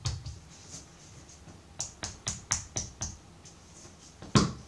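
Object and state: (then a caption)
Block of soft pottery clay. Fingertips and the palm tap and pat the faces of a solid, soft purple-brown block of colored pottery clay on a wooden table as it is turned upright and shaped into a rectangular bar. After a soft opening pat, a run of six evenly spaced, dull, damped pats is heard, then a final louder slap. Each hit is a short low thud with a faint bright edge that dies away almost at once.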